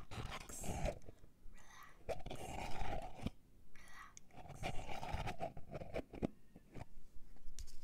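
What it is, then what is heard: Plastic body butter tub. A closed, full white plastic body butter tub with a barcode label, held in both hands, is tapped and scratched with long painted fingernails. Sharp, quick taps alternate with longer, hissy scratching strokes across the plastic.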